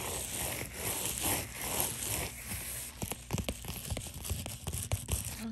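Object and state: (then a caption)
Plastic bubble mailer. Long dark-painted nails scratch across a white padded poly bubble mailer, making a steady, bright, crinkly rasp that swells in rhythmic strokes for about three seconds. The nails then switch to tapping the bubble texture, giving a quick run of sharp, dry plastic clicks with soft rustling between them.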